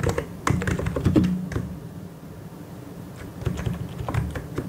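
Fingertips type on a white and grey plastic mechanical keyboard, producing an irregular run of soft, low-pitched clacks with short decays. A burst of fast keystrokes fades into a quieter stretch of a second or so before the typing picks up again.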